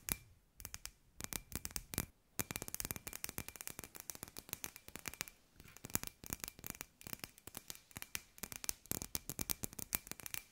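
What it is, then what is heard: Glass light ball tapped with nails. Long nails tap rapidly on a hand-sized hollow glass sphere with fairy lights inside, producing a dense string of sharp, bright clicks that stop short with almost no ring. The tapping pauses briefly near the 2 and 5.5 second marks, while a faint steady tone around 2.5 kHz hums beneath throughout.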